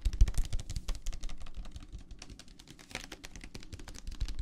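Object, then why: Plastic tumbler filled with gel beads. Fingertips tap rapidly on the walls of a clear plastic tumbler full of teal gel water beads. The result is a dense, irregular run of short, dull clicks with a deep low thump under them and brief bright ticks on top.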